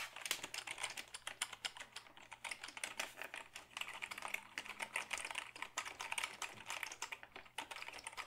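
A black Dell keyboard of hollow plastic is held up and typed on with the fingertips. Rapid, continuous bright clicks and clacks of keystrokes die away almost instantly, over a faint steady low hum.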